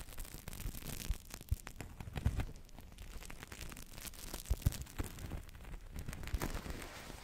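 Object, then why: Thin blown plastic-film toy bubble. A large, hollow, thin translucent blue plastic-film bubble blown from a Crystal Ball toy rests on the microphone and is squeezed and crinkled with fingertips and long nails. The result is a dense run of soft, low, boomy thumps and crackles with sharp brief transients and little ring. Occasional louder pops rise above the steady crinkling.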